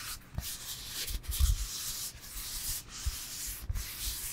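A solid rectangular foam yoga block is held in both hands and rubbed and scratched with fingertips. The result is a continuous bright, hissing scratch over soft low thumps, with a few sharper bumps standing out.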